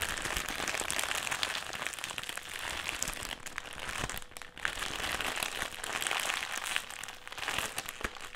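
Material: Metallised plastic.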